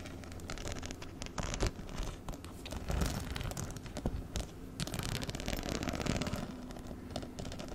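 Fingernails scratch and tap across the rows of metal-set rhinestone studs on a small, hollow black fabric handbag held up close. The result is a steady, dense scratchy rustle with scattered sharper clicks and light taps, fairly bass-heavy and dry, with no ringing.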